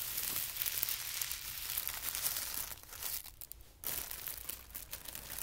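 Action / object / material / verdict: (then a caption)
scrape / thin tissue paper sheet / paper / none. A thin white tissue paper sheet, folded into a band, is pressed flat and creased with hands and fingertips. The result is a steady, bright, airy crinkling and rustling with soft crackles, which fades almost to silence just past the three-second mark before the crinkling picks up again.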